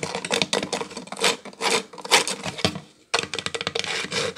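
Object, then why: Wooden table edge trim scratched with fingernails. Long acrylic nails scratch and rub along the solid wooden border strip of a tiled table, making bright, dry scraping strokes mixed with quick taps. The strokes come in uneven bursts with a short near-silent gap about three seconds in, then a fast run of scratches resumes.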